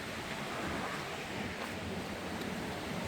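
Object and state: Nothing is struck.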